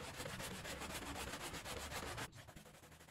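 A gloved hand scrubs a small wet woven rug, thick with soap foam and lying on the floor, with a handheld brush in quick back-and-forth strokes. The result is a steady, rhythmic, broadband swishing with bright, foamy hiss. The scrubbing cuts off abruptly after about two seconds, leaving a quieter, softer wet rustle.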